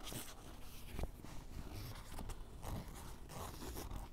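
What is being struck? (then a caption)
Canvas fabric fanny pack. Fingertips and a white ballpoint pen scratch and tap the top of a grey canvas fanny pack lying on a table, its soft, hollow body giving a dull, muffled response. Quiet rustling scratches run continuously, with a few slightly louder soft taps standing out, mostly low in tone with little brightness.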